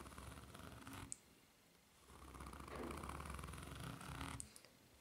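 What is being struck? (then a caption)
Foam-rubber flip-flop sole. Long nails scratch along the solid, ridged sole of a white foam-rubber flip-flop held upside down, producing a dense, rasping texture with a low rumble. A first pass of scratching ends in a sharp bright click, followed by a quiet pause, then a longer, louder pass that ends with another click.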